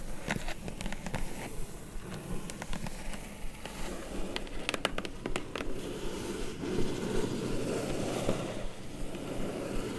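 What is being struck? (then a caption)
Corrugated cardboard box. Long nails scratch and tap quickly across the top of a flat, hollow, closed kraft-brown corrugated cardboard mailer box, giving dry, sharp clicks over a low, hollow rustle. Near the end, hands grip the box's sides, and the sound turns into a steadier, fuller scraping rustle.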